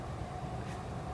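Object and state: Nothing is struck.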